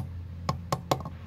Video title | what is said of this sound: Stripping my 1960 151 Land Rover 2286 motor for the Machine Shop, p2! | I check that it's solid just tap it you can hear the difference when it's on the spring